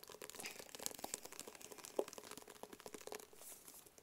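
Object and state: Cardboard gift box tapped.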